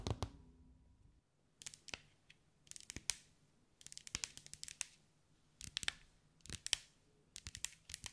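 Long white acrylic nails tap and scratch over a hand-sized sphere covered in small green mirrored glass mosaic tiles, held in the hands. Bursts of quick, bright clicking ticks and short scratchy scrapes come in clusters separated by brief quiet gaps, with a faint low hum underneath.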